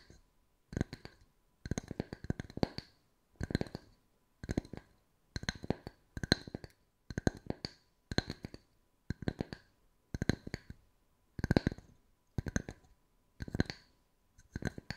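Long white nails tap and scratch the flat surface of two matching small round wooden tree slice coasters, solid wood with bark edges. Quick dry taps come in short bursts separated by brief pauses, each with a low woody knock and a bright clicky edge that dies away almost instantly.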